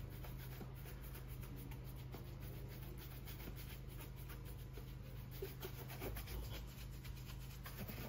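A white-bristled shoe brush is swept vigorously across the polished upper of a brown leather cap-toe oxford, hollow with a shoe tree inside and held in a gloved hand. The result is a soft, continuous rubbing and scrubbing at low level over a steady low rumble, with quick uneven strokes and a few slightly louder brushes near the end.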